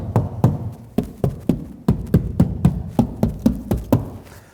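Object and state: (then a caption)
Sound-deadened car door, no rattle. A car door's sheet metal, fully covered in deadening layers including Noiseflex, is knocked on 14 times in a final knock test. Each knock is a short, dull, low thud around 176 Hz that dies away almost at once. The damped door gives no rattle.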